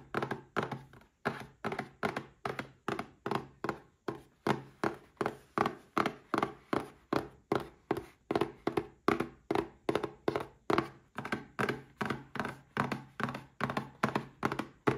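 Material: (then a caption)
Cardboard. Fingertips tap a small red cardboard gift box holding a Paladone Mario Kart glass as it is held and tilted. About fifty dull, hollow thunks follow in a quick, loosely even rhythm, each dying away almost at once with a warm midrange body.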